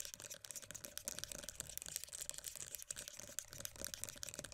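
Long dark-painted nails tap and scratch the printed green-tea lid and rim of a closed, filled, round black-and-mint plastic body butter tub. The result is a fast, dense stream of short, dry, bright clicks and scrapes with almost no ring and very little low end.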